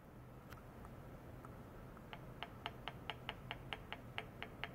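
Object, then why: Small stainless steel bowl. A long white plastic rod taps and rubs inside a small, empty, shallow, round stainless steel bowl resting on a white mesh pad, with a clamped probe attached to its rim. A few faint touches come first, then about a dozen quick, evenly paced, bright metallic ticks with a tone near 855 Hz. Each tick dies away almost at once over a low background hum.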